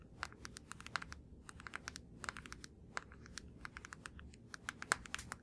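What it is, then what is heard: Plastic deodorant stick. A blue plastic deodorant stick is held in both hands and tapped rapidly with the fingertips. The result is a fast, irregular stream of short, dry plastic clicks with a bright edge and a tone centered around 1.6 kHz, each dying away almost instantly over a soft low rumble.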